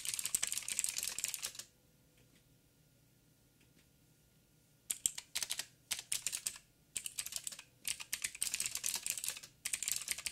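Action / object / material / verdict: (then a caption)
tap / plastic mechanical keyboard / plastic / none. Fingertips of both hands type on a backlit 87-key mechanical keyboard with plastic keycaps and clicky blue switches. Rapid, bright, crisp clicks pour out for about a second and a half. A quiet pause of roughly three seconds follows, then the typing resumes in quick bursts until the end.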